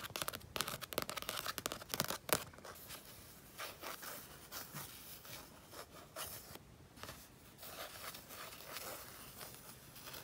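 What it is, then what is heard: Painted paper sheet. A fingertip and painted fingernail tap and scratch along a sunset-and-mountains painting on a flat sheet of mixed-media paper lying on a fleece blanket. Quick, crisp, papery taps cluster in the first two and a half seconds, then give way to quieter, dry scratching strokes across the surface for the rest of the clip.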